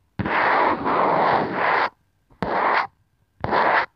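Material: Plastic.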